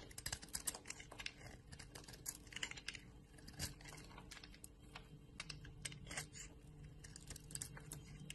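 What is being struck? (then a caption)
Bar of soap cut with a knife blade. A utility knife blade shaves a bar of soap, a solid white core with yellow remnants, held in a hand with long nails, into crumbly chips. Quiet, rapid, crisp scraping and cutting ticks crackle brightly over a faint steady low hum, with a few sharper snaps standing out.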